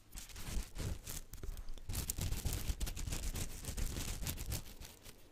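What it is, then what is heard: Silicone pastry brush. Long nails and fingertips flick and scratch the soft bristles of a small yellow silicone pastry brush held close to the mic. The result is a dense, continuous run of quick, crackling ticks and scratchy rustles over a low, thumpy rumble, with bright crisp edges on the sharper flicks.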